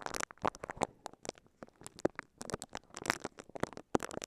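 A microphone covered in clear crinkly plastic wrap is brushed and scratched with the bristles of a pink silicone scalp massager held in both hands. The result is a quick, irregular run of short, sharp crinkling and scratching bursts, bright and broadband, each dying away almost instantly, with brief near-silent gaps between them.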